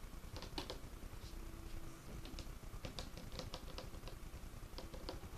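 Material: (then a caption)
Wood. Fingertips of both hands drum and tap on a large, solid, dark wood tabletop, producing quick, light, clicky knocks in irregular bursts. The taps are short and dry, heard over a steady low rumble.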